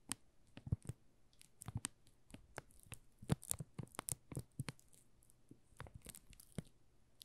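A solid pink "Rose" soap bar in a plastic film wrap is held in both hands while the fingertips rub and crinkle the film. Quiet, dry crinkles and crackles come in a steady run of many short, sharp bursts with some brighter snaps, each dying away almost instantly.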